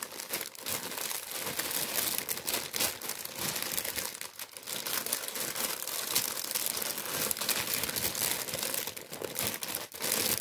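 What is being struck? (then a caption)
Kraft paper bread bag. A tan kraft paper baguette bag, held in the hands, is crumpled and rubbed with the fingers. It produces a dense, continuous crinkling and rustling that is bright and crisp with almost no low end. Brief crackles rise out of the steady papery texture throughout.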